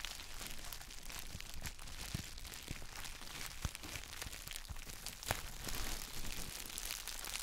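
Gloved fingertips press and rub the clear plastic bubble wrap around a palm-sized gym chalk block held in both hands. The result is a steady, dense crinkling and rustling with a bright hiss, broken by a few sharper crackling snaps, the loudest near 3.7 and 5.3 seconds.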